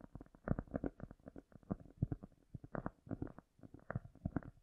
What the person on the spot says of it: Today I am tapping and scratching cork (I Love this sound).